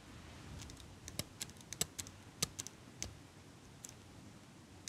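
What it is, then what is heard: Metal eyelash curler. A small metal eyelash curler is held close to the microphone while fingers and long nails squeeze and click its metal parts. Sharp, bright, very short clicks and ticks come at an irregular pace over a quiet, soft background hiss.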